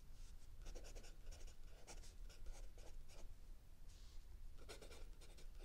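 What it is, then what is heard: Pencil writing on notebook paper. A mechanical pencil writes densely on the lined paper of a spiral notebook, its tip scratching steadily across the page. The pencil strokes come through as short, bright scratchy bursts over a quiet, constant low hum.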